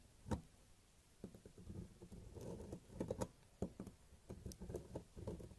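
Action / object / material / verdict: scrape / bar of soap scraped with a thin metal blade / soap / none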